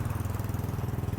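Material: Nothing is struck.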